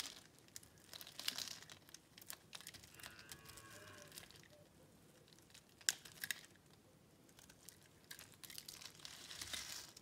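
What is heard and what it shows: A solid pink bar of soap, held in the hand and pre-scored in a grid, is carved and scraped into small cubes with a metal box-cutter blade, and the crumbled soap falls onto a pile. Bright, crisp crunches and crinkly scraping come in short bursts and are loudest near the start, middle and end. Faint low hums are heard beneath them.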